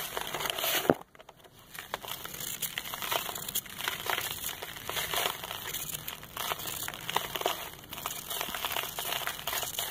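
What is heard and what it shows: A hand-held solid packed sand ball is scraped with a metal knife blade over lined paper. A sharp crunch near the start is followed by a brief near-silence, then steady, dry, gritty scraping and crumbling with bright crackles throughout.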